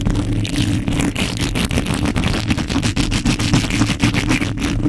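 A hollow metal mesh microphone grille is scratched with the long nails of both hands, producing fast, irregular scraping and tapping with a heavy low rumble beneath dense, bright scratchy texture. The sound stays steadily loud throughout, with short, dry strokes that barely ring.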